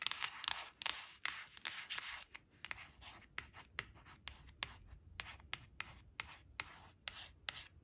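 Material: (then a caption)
Coated card. Long blue-painted nails scratch and trace over a small, flat glossy cardstock flash card printed with a red crayon picture, lying on a woven fabric placemat. The result is a quiet, bright, hissy scratching broken by an irregular run of sharp, dry nail ticks, with almost no low end and no ringing.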